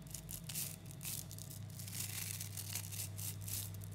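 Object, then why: Clump of small neodymium magnetic spheres. Fingers pull a clump of about 11,000 small 3 mm neodymium magnetic metal balls into strands and then squeeze them back together. The balls make dense bursts of bright, crackling clicks over a steady low hum.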